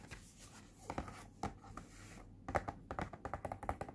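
Fingertips and nails tap on a small, flat, pink printed cardboard Cooky face point mask box lying on a blue surface as it is turned from back to front. Short, dry, hollow taps come in an irregular pattern over soft scratchy handling, growing denser and sharper toward the end. Each tap dies away almost instantly.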